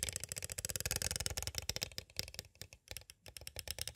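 Two green plastic stick tools tap rapidly on the edges of a small hollow clear plastic cassette tape case. The result is a dense run of short, bright plastic clicks with almost no ring, packed tightly at first and then spacing out into brief bursts with quiet gaps.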